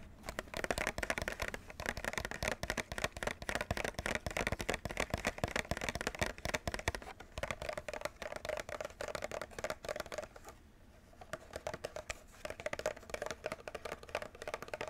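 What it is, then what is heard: Plastic clamshell package. A plastic clamshell package holding a Nintendo Switch controller is held up and tapped and scratched with fingertips and nails along its top and front. Rapid, dense taps and scratchy crinkles have a hollow plastic tone around 700 Hz. The sound pauses briefly near the eleven-second mark, then the tapping resumes.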